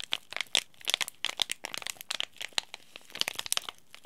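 A small, sealed, green laminated plastic-foil tea bag sachet is crinkled and bent by fingertips and short nails. The result is a rapid, irregular series of sharp, dry crackles and crinkles. The sound is bright and high, with almost no low end and no ring after each snap.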